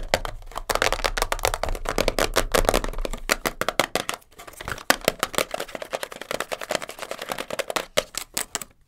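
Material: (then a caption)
Cardboard. A small, hollow printed cardboard box of Elastoplast kinesiology tape, first lying on a fur rug and then held, is tapped and scratched fast with long blue nails. A dense run of dry, short clicks carries a hollow papery knock near 535 Hz and bright scratchy rasps, dipping quieter briefly around the middle. Each hit stops almost instantly, with no ring.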